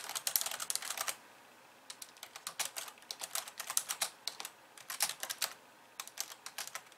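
Two hands with long nails type on a pink plastic computer keyboard with white keys. Quick, bright, clicky key taps come in rapid bursts, with a short pause near the start and another near the end. Each tap is crisp and dies away almost instantly, with no low rumble.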